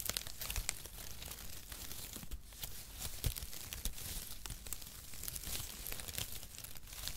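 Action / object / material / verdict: scrape / cardboard packaging shreds / cardboard / none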